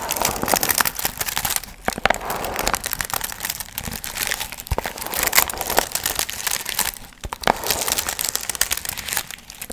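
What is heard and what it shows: Long nails scratch and crinkle the gold foil fringe on a medium hollow paper pumpkin piñata held in both hands. A dense, bright crinkling and rustling runs almost continuously, with sharp little clicks and brief quieter dips near 2 and 7 seconds.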